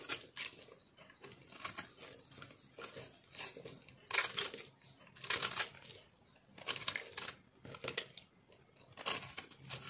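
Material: Soap.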